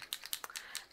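A flat-tipped silver paint marker pen is shaken, and the ball bearing inside rattles to mix the ink. About seven sharp, bright clicks ring out in quick succession.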